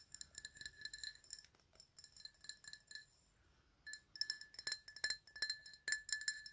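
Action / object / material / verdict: tap / glass drinking tumbler / glass / none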